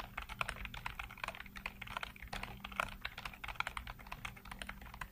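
Fingertips rapidly tap and type on a full-size black plastic computer keyboard with hollow keycaps. A dense, continuous stream of short, bright plastic clacks with almost no ring, over a faint low steady hum.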